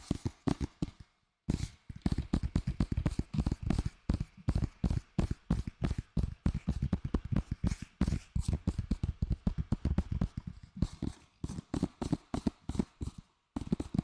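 Fingers tap rapidly and repeatedly on a plastic Lord of the Rings DVD case received as a Christmas gift, making dense, short, dull clicks with most energy low in pitch. The tapping runs in quick bursts with brief pauses, and each tap dies away almost instantly.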